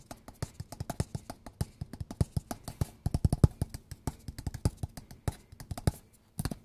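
A flat, square, hollow kraft cardboard box with a Mi logo is held up in both hands and tapped with fingertips and nails in a loose, irregular rhythm. About 44 quick, dull, low thumps and light clicks die away instantly, with a brief pause before a final cluster at the end.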